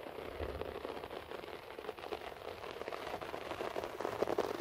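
Fingertips and nails, mostly of the right hand, scratch across a beige short-pile floor carpet. The result is a quiet, continuous, crackly rustle centered in the low-mid range, with brief bright ticks scattered throughout, growing slightly louder toward the end.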